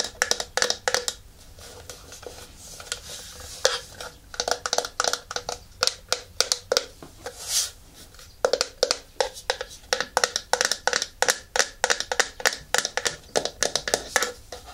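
A hollow white plastic rotating turntable is held in the hands while fingernails tap and scratch its underside, top surface and side wall. Quick, dry, bright clicking taps come in steady runs with brief scratchy passes between them, each tap dying away almost instantly with a faint hollow plastic ring.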